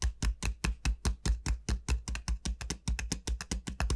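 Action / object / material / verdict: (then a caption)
tap / large dried gourd shell / dried gourd / none. Long nails tap the hard shell of a large, hollow dried gourd, its bulbous end facing the mic. A quick, slightly uneven run of short taps follows, each a deep hollow thump with a brief bright click on top. Each tap dies away almost at once.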